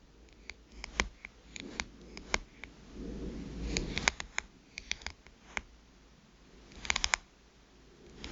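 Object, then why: Smartphone with glass screen. Long nails tap and scratch the glass screen of a small black smartphone lying face up. Sharp, bright clicky taps are scattered throughout, with a stretch of soft, hissy scratching in the middle and a quick cluster of taps near the end. Each tap is dry and dies away almost at once.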